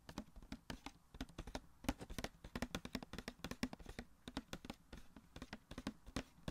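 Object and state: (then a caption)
Cardboard box with plastic window, tapped. A small, hollow cardboard The Flash Funko Pop box with a clear plastic window and the figure inside is held and tapped with fingertips and nails on its sides and window. A quick, uneven run of dozens of soft, dry taps and clicks is heard, each with a hollow low-mid body and almost no ring.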